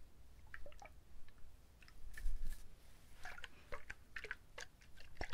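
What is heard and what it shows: A whole husked brown coconut with water inside is held up and shaken by hand. Liquid sloshes around inside it in a run of short, wet, squishy splashes and drips, with a dull low rumble underneath. Several brighter spikes come through at about 2.2 s and toward the end.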